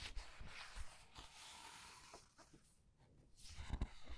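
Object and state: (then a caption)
Paper pages of a large art book. Fingertips with long red nails turn and squeeze the thick glossy paper pages of a large hardcover art book lying open on a white table, rubbing the paper. The result is a quiet, airy rustle and brushing hiss, with soft low thumps and louder crinkling flicks near the start and end.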